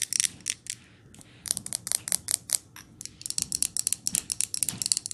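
Long nails tap quickly on a glass jar candle and its lid as the jar is lifted and handled up close. Around two dozen sharp, bright clicks come in bursts, with quieter handling pauses between them. Each tap dies away almost instantly, and the sound is nearly all high with very little low end.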